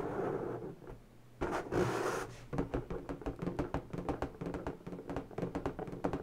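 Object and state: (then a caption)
Inflated latex balloon. An inflated, hollow, air-filled pink latex balloon is rubbed and scratched with fingertips and long natural fingernails. Soft rubbing gives way to a louder, brighter rubbing burst, then a quick series of short, dry ticks and scratches with a low, hollow rubbery resonance.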